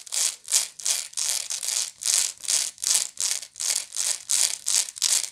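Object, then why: Woven straw bag. Long nails scratch back and forth across the woven side of a medium, hollow woven straw bag. The result is a steady run of short, bright, dry rasping bursts, each with a quick fade and brief gaps between strokes. There is almost no low end.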